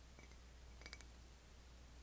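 A ceramic Starbucks coffee mug decorated with coffee beans on the outside gives three quick, bright clinks close together, after a couple of fainter ticks. Each clink rings briefly over a steady low hum.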